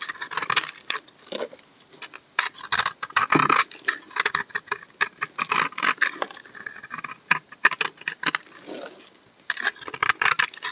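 A solid rectangular pink-and-white striped soap bar is held in one hand while a steel utility knife blade shaves and scrapes curls off its surface. The result is a rapid run of dry, crisp scraping strokes, bright and papery, with no low end and very short decay between strokes.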